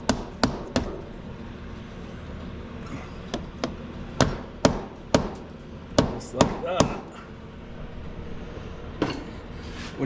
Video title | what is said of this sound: 2007 Suzuki King Quad 750AXI Replacement of cv axles | you hear something go from a hollow sound to a solid sound you always want to stop